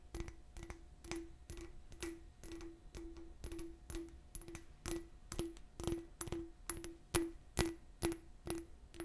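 A small, hollow, empty clear glass bottle with a raised bumpy pattern is scratched and tapped with long nails. Sharp, bright taps repeat at a steady pace, each leaving a short ring near 336 Hz. Soft scratching rasps fill the gaps between the taps.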